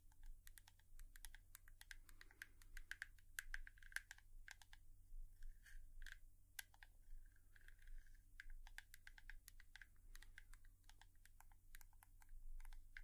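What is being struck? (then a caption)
Hairbrush. A hairbrush is tapped with long nails in a quick, irregular run of light, sharp clicks, some in fast bursts. The taps have a crisp tone around 1.6 kHz with bright tips and die away almost instantly. A steady low hum sits under the quiet tapping throughout.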